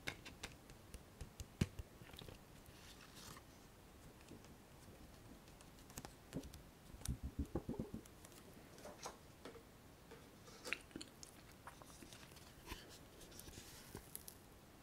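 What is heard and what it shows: A flat, hollow, light Sephora eyeshadow palette in a cardboard sleeve is held in both hands, handled and tapped with long fingernails while the sleeve is slid open. Quiet, dry, clicky taps and brief scratchy rustles come and go over a soft background, with a tighter cluster of taps around the middle. Each tap is short with almost no ring, giving a dull low body and bright clicking edges.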